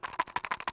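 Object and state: Coins rattling inside a plastic thumb tip.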